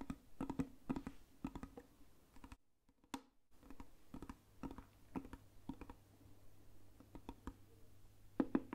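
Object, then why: Round lacquered wooden box. A round, hollow, lacquered Burmese box with a carved lid is held in one hand and tapped quickly with the long nails of the other hand. The result is a run of short, dry clicking taps with a low, hollow resonance around 266 Hz, broken by a brief silent pause near the three-second mark. A cluster of slightly louder taps closes the clip.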